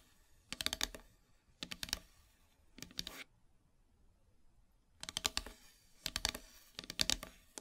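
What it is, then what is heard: Painted wooden heart plaque tapped with long nails. Long silver nails scratch and tap across the surface of a flat, solid, black painted wooden heart plaque. Six short bursts of rapid, crisp, bright clicking are separated by brief quiet pauses. Each tap is dry and ends almost instantly.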